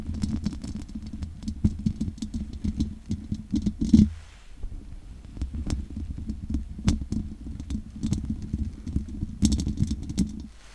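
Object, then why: Metal mesh microphone grille. Long nails scratch and tap the sides of the hollow metal mesh grille on a large condenser microphone. The result is a steady low, rumbling hum around 200 Hz, broken by many quick clicking taps with faint bright edges. The surges grow loudest near four seconds and again near nine and a half seconds.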